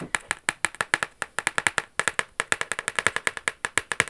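Long yellow acrylic nails tap and scratch across the lid of a large, flat, dark-brown cardboard Versace box with a silver logo, which is hollow and closed. About 32 quick, dry, clicky taps come in an uneven rhythm, each bright and papery with a hollow tone around 1.7 kHz. Every tap dies away almost instantly.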